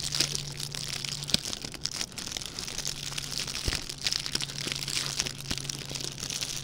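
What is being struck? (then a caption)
Metallic plastic ribbon gift bow. A small red metallic plastic ribbon gift bow is squeezed and crinkled between the fingertips of both hands. It makes a dense, steady stream of bright, high crinkling with sharp little crackles throughout, over a faint low hum.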